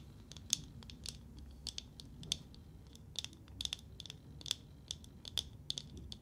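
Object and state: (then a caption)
Painted wooden nesting doll tapped and scratched with nails. A small, hollow painted wooden matryoshka nesting doll, held in both hands, is tapped and scratched with long nails. Quick, dry, bright clicks and scratchy ticks come in irregular bursts and die away instantly, over a faint low background hum.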